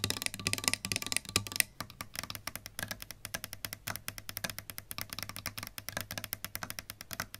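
Long pink nails tap rapidly on a solid-body electric guitar with a lacquered wood body, plastic pickguard and metal hardware, striking the pickup, the knobs and the lacquered top. The taps are short, bright clicks with almost no ring, louder and denser for the first couple of seconds and then lighter and evenly spaced over a faint low steady hum.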